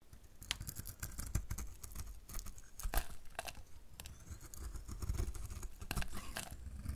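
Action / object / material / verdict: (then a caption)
scrape / bar of soap cut with a blade / soap / none. A hand-sized solid bar of dried soap painted green is held in one hand and shaved with a snap-off utility knife blade. Quick, dry scraping and cutting strokes crackle and snap in rapid succession, each one short and bright over a low, dull rumble. The blade cuts crumbly flakes off the surface.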